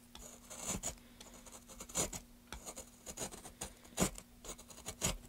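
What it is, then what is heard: Pine wood board being carved. A metal gouge scrapes and carves a solid, light pine plank held upright in gloved hands, working in short strokes. Each stroke gives a dry, bright, raspy scratch with a quick attack and almost no ring, with louder bursts near the two-, four- and five-second marks. A faint, steady low hum runs underneath throughout.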